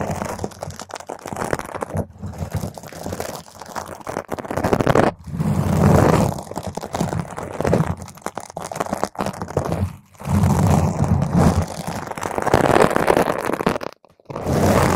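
Long pointed nails on both hands scratch and squeeze a round purple foam microphone cover, producing dense, crunchy, muffled scratching with heavy low rumble. The texture swells into louder squeezing bursts at several points, broken by brief near-silent pauses.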